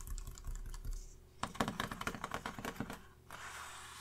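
Fingertips tap and scratch a flat paper makeup face chart clipped to a clipboard that rests on a red surface. Soft scratchy rustling gives way to a quick run of crisp, typing-like taps with dull low thumps, then a steady, bright hiss at the end.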